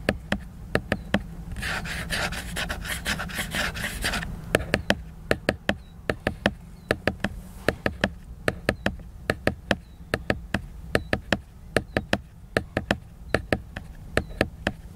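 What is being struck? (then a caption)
Laminated cardboard hardcover book. Fingernails tap and scratch the glossy cover of a large, solid, flat laminated cardboard hardcover book. A brief bright, hissy scratching burst near the start gives way to a steady run of sharp, dry taps that die away almost instantly over a low background hum.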